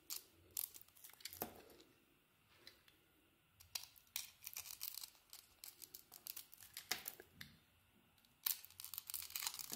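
A solid blue soap bar with a pale green glitter-embossed coating is held in the hand and carved with a utility blade, scraping off slivers. Quiet, crisp, bright scraping and shaving strokes come in clustered bursts separated by brief pauses, with almost no low end.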